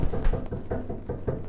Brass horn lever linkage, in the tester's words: you can hear that vibration zing zing zing just by tapping with your finger